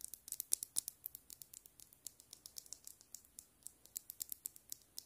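A small hollow plastic frog keychain figure, held in the fingers, is tapped quickly with long nail tips. About 29 short, quiet, bright clicks come in an uneven rapid patter. Each tick stops dead with almost no low end.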